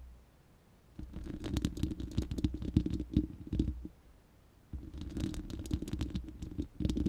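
Long nails scratch and tap on the bare, hollow round steel mesh grille of a studio microphone in two bursts, with a pause between them. The sound is a close, deep, muffled rumbling scrape dotted with quick, sharp ticks that stop almost at once.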